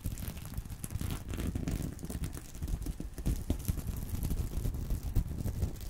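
Fingertips scratch across a small reversible sequin-covered fabric purse resting on a pillow. The result is a steady, soft, scratchy rustle of many quick, dry scrapes and clicks, with most of its weight low and muffled.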